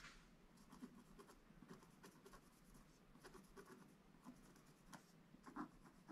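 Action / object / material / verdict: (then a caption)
scrape / wax-coated scratch-art paper scraped with a wooden stick / coated paper / none. A wooden stick scratches steadily across the middle of a black-coated gold scratch-art paper page. It makes a soft, continuous dry scraping with short, bright scratchy strokes, and a few are a little louder than the rest.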